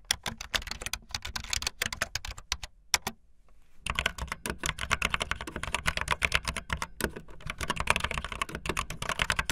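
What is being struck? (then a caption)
Plastic membrane keyboard. Fast typing on a full-size, backlit plastic Bluetooth membrane keyboard with white and blue plastic keycaps and a hollow plastic body, the keys pressed with fingertips and the tips of long painted nails. Dense, rapid, bright clicking taps with a short, dull low thump under them run steadily, broken by a brief near-silent pause a little after the three-second mark before the typing resumes even busier.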